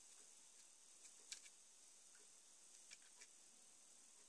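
An assembled, hand-sized, mostly hollow purple and grey ABS plastic Lego lowrider car, the Joker Notorious Lowrider from Batman Movie set 70906, is held in one hand and tapped with the fingertips of the other across its studded top surface. A few sparse, light, typing-like plastic clicks sound over a steady, quiet high hiss, each dying away almost instantly.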